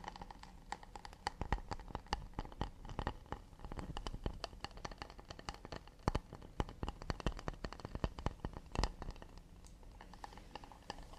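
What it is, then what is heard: Acacia wood plate. Fingertips tap quickly and delicately on an acacia wood plate, making a dense run of short, dry clicks that stop almost at once. The taps come unevenly, some louder and sharper than others, with a low, soft body and little ring.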